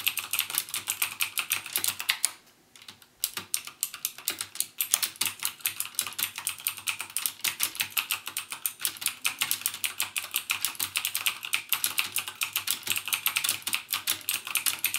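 Fingertips type continuously on a backlit plastic mechanical keyboard with plastic keycaps and Cherry MX Blue switches. Rapid, bright, crisp clicks with almost no low end follow one another closely, each dying away almost instantly. The typing pauses briefly a little after two seconds, then resumes at a steady pace to the end.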